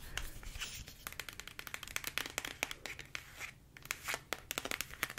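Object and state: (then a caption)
Plastic squeeze tube tapped with fingernails. A medium-size pink soft plastic body-care squeeze tube with a white cap, filled with product, is held in both hands and tapped rapidly with long acrylic nails. The sound is a fast, uneven stream of sharp, bright clicks and light crinkly taps.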